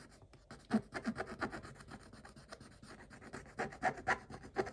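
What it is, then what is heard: Scratch-off coated paper page. A stick scratches across a scratch-off coated paper page in a quick series of short, dry rubbing strokes. Each stroke gives a soft, rasping scrape with little low end and almost no ring, rising and falling in loudness as the stick moves over the same page.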